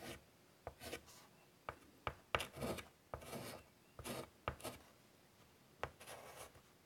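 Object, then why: Chalk on a wood-framed chalkboard. White chalk scratches and rasps across the surface of a large, flat, wood-framed chalkboard. Short, sharp taps as the chalk meets the board are followed by bright, gritty strokes. The taps and strokes come in quiet bursts separated by brief silences.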